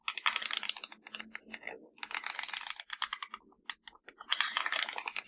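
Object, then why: Plastic TV remote control. Long blue acrylic nails tap and scratch across the rubber buttons and casing of a small black plastic universal TV remote (LG-style), hollow with batteries inside, lying on a grey fabric surface. Rapid, bright clicking taps come in dense bursts separated by short pauses, each tap dying away almost instantly, with a faint low hum beneath.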